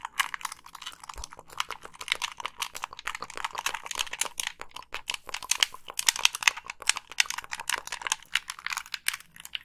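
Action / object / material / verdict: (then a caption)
tap / plastic game controller / plastic / none. Long pink nails tap the hollow casing and click the buttons of a black Xbox 360 plastic gamepad held close. Rapid, bright, dry clicks and taps follow each other densely, each dying out almost instantly with very little low end.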